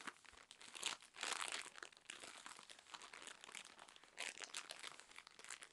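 Long nails scratch and tap along the thin plastic film of a full, soft, cylindrical cotton pad roll package. The wrapper gives a quiet, bright, continuous crinkling with no low end, swelling into louder bursts of rustle around the first and second seconds and again past four seconds. Brief tapping clicks sit among the scratching, and every sound dies away almost at once.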